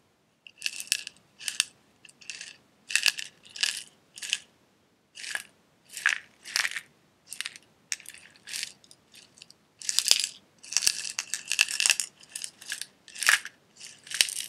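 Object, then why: Small glass jar with metal screw lid holding loose crinkly pieces. A small clear glass jar with a silver metal screw lid, partly filled with loose red crinkly pieces, is held in both hands, tapped with fingertips and nails, and tilted so the contents rattle. Short bursts of bright, crisp clicks and crinkly rattles come in quick clusters with brief pauses between, each sound dying away almost instantly with no low end.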